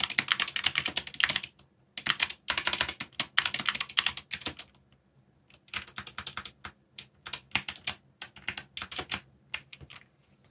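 Fingertips type on a backlit mechanical keyboard with plastic keycaps, producing rapid, bright, clacky keystrokes with very short decay and almost no low end. The typing comes in bursts separated by brief pauses, then resumes in a steadier, slightly quieter run.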